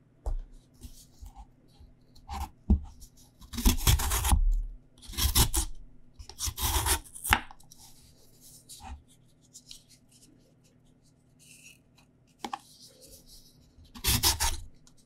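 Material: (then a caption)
Sweet potato. A whole, solid, raw purple sweet potato is held in one hand and scraped with a green vegetable peeler, and the skin strips fall onto the table. Rough, bright scraping strokes come in irregular bursts, with dull low thuds, between quiet pauses.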